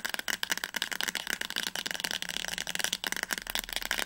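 A teal paperback novel, "Das Labyrinth erwacht," is held upright while its spine is tapped quickly with long nails. The result is a rapid, continuous stream of crisp, dry clicks with a bright, high-pitched texture and almost no ring after each tap.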